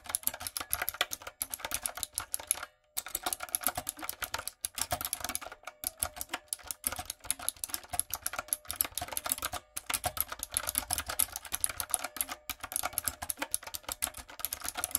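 Fingertips and long nails type rapidly on a light-up, retro typewriter-style mechanical keyboard with round plastic keycaps. Dense, bright, sharp clicks and clacks run almost continuously, with short pauses near 3 and 10 seconds. Each keystroke dies away instantly, leaving little low-end weight.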